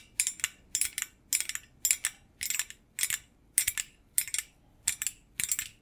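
A stainless steel wire rack or basket made of thin rods is held close to a microphone and tapped and scratched by fingers wearing metal thimbles. Ten bright, high-pitched bursts of metallic clicking and scraping come in a loose rhythm, each dying away almost at once with little ring.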